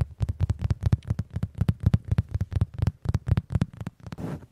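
Fingertips and palms tap and pat the surface of a large, cushioned brown leather (or faux leather) upholstered headboard, with the recorder resting on top of it. Quick, soft, low thumps follow one another rapidly and irregularly, each fading almost at once. The pats end in a brief soft rustle.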